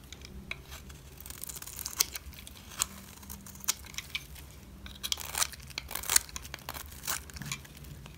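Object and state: Dry bar of soap being shaved.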